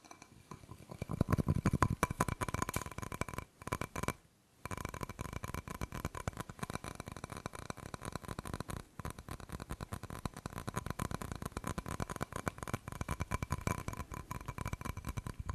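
Fingertips and nails tap and scratch the glazed painted front of a small, solid, round ceramic decorative wall plate with a floral design and a purple ribbon hanger, held in both hands. A rapid, dense run of soft, dull clicks and scrapes continues with a brief pause partway through. The sound is mostly low and muffled, with almost no ring after each touch.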